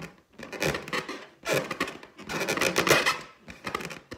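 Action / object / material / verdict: scrape / inflated latex balloon / latex / none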